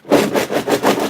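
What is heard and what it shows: A box full of old plastic cassette tapes of a radio show, mostly interviews and shows, is shaken back and forth. The shaking makes a dense clattering rattle in surging waves, centered in the low-mids with little deep bass. The rattle reveals the loose tapes inside the box.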